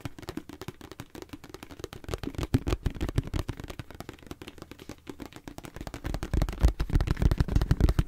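A hollow, hand-sized white plastic face-wash tube is tapped sharply and rapidly with fingernails, making a fast, uneven patter of short, dry, muffled clicks. The tapping grows louder and denser over the last couple of seconds.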